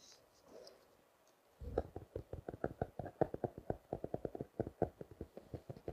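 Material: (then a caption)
Paper, plastic. A small spiral notebook with a blue and orange cover wrapped in clear plastic, closed as a solid stack of paper, is held in both hands and tapped and scratched with the fingertips and short nails. After a faint, soft scratching at the start, a quick run of short, dry, muffled taps follows, each with a low thump and a papery knock and no ring.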